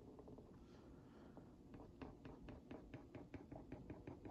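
The tip of a wooden skewer traces around a printed cookie on a hollow Oreo Mini cardboard box held in one hand, making a quiet scratch. Soft, dry scraping gives way in the second half to a run of short, sharp ticks with little ring, over a low, muffled body.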